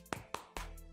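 The polycarbonate plastic back panel of a Realme 7 Pro smartphone is knocked three times, giving short, dull taps over a steady tonal background. The panel sounds solid and dense, as if stuck to the phone body, and different from a Poco X3's back.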